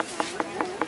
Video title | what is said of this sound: Come Along With Me Through The Farmers Markets! Adventures In Food Education! | You tap it, it sounds hollow.